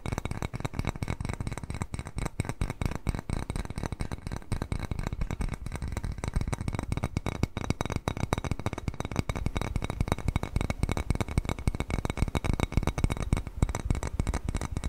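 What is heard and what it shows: A small, white, glazed ceramic bowl shaped like a cat face, hollow and empty, is held upright and tapped and scratched with fingernails for the whole clip. The rapid, dense tapping and scratching sounds dull and low-heavy, with short, dry clicks that barely ring.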